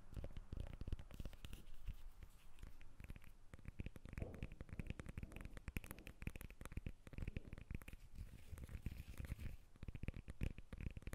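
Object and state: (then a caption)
Lemon tapped and scratched with fingernails. A whole yellow lemon is held up in both hands while long red nails tap and scratch its peel. The result is a steady stream of rapid, soft, dull taps with a low, muffled body, mixed with light scratching across the peel. Each tap dies away almost at once.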